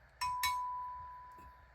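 A steel part of a 1906 Remington Automatic shotgun, either the barrel or the receiver, is struck twice in quick succession. Each tap gives a bright metallic click, and the part then rings with a clear, steady tone that slowly fades over more than a second. The metal rings.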